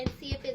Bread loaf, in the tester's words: I flip it over and I hit it and see if it sounds like it's Hollow and this does